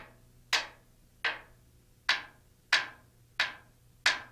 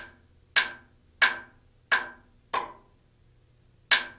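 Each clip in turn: First: Six crisp, bright taps on a metal rotor blade, each dying fast: the skin is solidly bonded to the spar. Second: Five sharp, clacky hammer taps on thin metal skin, each dying almost at once, sounding hollow away from the spar.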